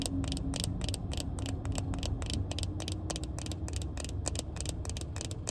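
A small pair of black plastic-frame sunglasses with tinted lenses and a hollow frame is held in the hand and tapped and scratched with long red-painted nails. Quick, bright, dry clicks repeat rapidly over a steady low hum.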